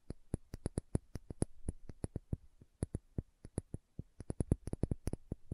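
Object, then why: Small glass dropper bottle. Long nails tap and scratch a small dark green glass serum bottle with a dropper cap, making a run of about 31 quick, separate clicks in an uneven rhythm. Each tap is a short, dry tick with a dull low body and a faint bright edge, dying away almost at once with no ringing.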